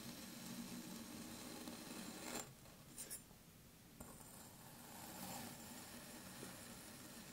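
A metal knife slices through a small, solid pink kinetic sand dome on a wooden table, with a green mound untouched nearby. A steady, grainy rasp with bright hiss fills the clip, then drops quieter for about a second and a half, during which two short ticks are heard. The gritty cutting sound then resumes.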